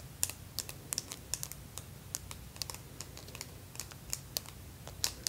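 Extra-long pink acrylic press-on nails covered in plastic fake teeth, held up on both hands, tap and clack against each other. The result is a rapid run of sharp, bright plastic clicks with almost no ring, over a faint low hum.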